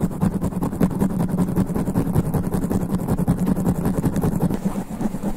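Both hands scratch quickly with long black nails on the sponge foam windscreen covering the head of a studio microphone. The result is a dense, continuous, rapid rustling scratch with a heavy low, muffled rumble that stays steady throughout.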